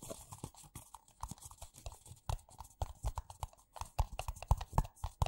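Fingertips and nails tap fast on two identical empty white paper coffee cups, which are hollow and thin-walled. The result is a quick, uneven run of short, dry, hollow taps, mostly low and thuddy with brighter clicks mixed in, each dying away almost at once.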